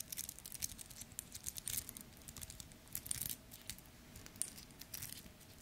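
A small two-tone steel and gold metal wristwatch with a link bracelet is held close in the hands while fingers tap, scratch and flex the bracelet. Quiet, bright metallic clicks and light link rattles come in irregular bursts over a soft, crinkly scratching.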